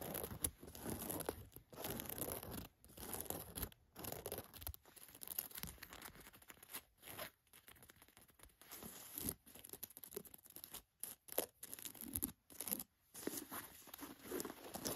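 Long nails scratch an olive cotton canvas jacket and the spots of dried, crusted paint or plaster on it. Heard are soft, dry scratching and crackly rasps in uneven bursts separated by brief silences.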